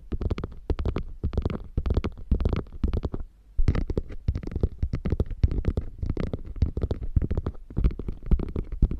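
Long nails scratch rapidly along the flap rim and piping seam of a beige quilted faux leather bag. The result is a dense run of short, dull, low-heavy scraping strokes with a brief pause partway through before the scratching resumes.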